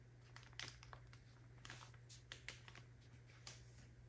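A soft plastic packaging bag full of cotton pads is held in the hands and scratched and tapped with long acrylic nails. It makes quick, bright, crinkly clicks that stop short, with soft scratching between them, over a steady low hum.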